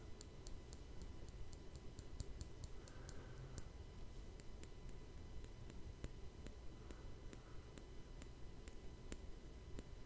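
A fingertip taps and scratches across the hollow, rounded woven steel mesh grille of a Blue Yeti microphone. Soft, bright clicks tick irregularly but steadily over a constant low rumble, with brief faint scratching swishes in between. The taps are quiet, dry and short, with almost no ring.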